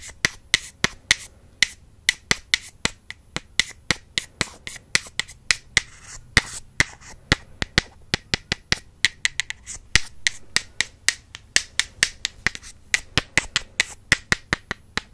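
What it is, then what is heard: Wooden makeup brush handles tapped together. Two solid wooden makeup brush handles are tapped together close to the microphone, partly hidden behind it at the start. About 55 sharp, bright clicks with a woody ring near 1.9 kHz sound in a quick, uneven rhythm, each dying away almost at once over a faint background hiss.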